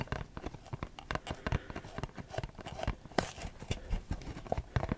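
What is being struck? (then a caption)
Printed cardboard perfume box. A printed Versace perfume cardboard box is held in both hands and tapped and scratched with short fingernails. The result is a quiet, rapid, uneven run of soft, dull taps with a low, hollow body and very short decay, mixed with faint scratchy rustling.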